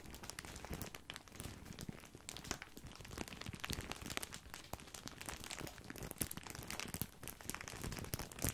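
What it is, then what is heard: Plastic bag of breadsticks. A large, full, white printed plastic bag of grissini breadsticks is crinkled with the fingertips. It makes a steady, dense crinkling full of sharp crackles, reaching from a low rustle up to bright, high crackle. The crackling continues without pause and swells slightly louder toward the end.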